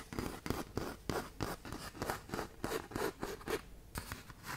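Long nails scratch quickly across a tan K120 (120-grit) sandpaper sheet curled into a half tube close to the mic. About 13 short, dry, gritty rasps come in a fast, uneven rhythm, with a broad scratchy hiss reaching high and no ring after each stroke.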